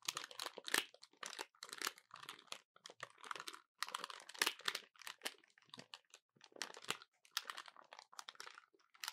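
Keys on a small dark plastic handheld calculator with rubber/plastic keys and a hollow body are pressed and tapped with fingertips and short painted nails, first with it lying on a table, then held in both hands. Quick clusters of dry, bright clicks and crinkly taps come in uneven bursts with very short decay and almost no low end.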